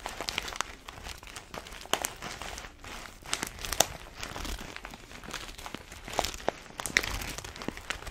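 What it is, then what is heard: Paper-foil coffee bean bag. An orange paper-foil coffee bag full of beans is held horizontally while long nails scratch and squeeze the paper. The result is a steady, dense crinkling with sharp, bright crackles and brief scratchy bursts, mostly in the upper range with little low end.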